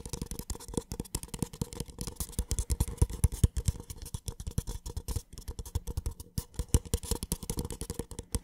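A small, empty, hollow white paper cup is tapped rapidly and scratched with the fingertips on its base and side. The result is a dense stream of short, dry, hollow taps with a deep, muffled low body and almost no ring, plus faint bright scratchy texture between them.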